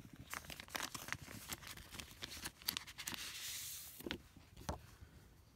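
Fingertips and a hand rub and press a thin clear plastic binder sleeve holding a woodland postage stamp sheet that lies flat inside it. The result is a dense run of bright, crisp crinkles and tearing-like crackles, with a smoother sustained rub near the middle and a few sharper pops toward the end.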